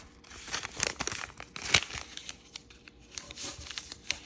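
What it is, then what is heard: Origami paper sheet being folded. Fingertips fold a small, thin, bright kaleidoscope-pattern origami paper sheet and rub the creases flat against a table. The result is a quick series of crisp, dry crinkles and soft scraping rustles, bright and high with almost no low end, each one dying away at once.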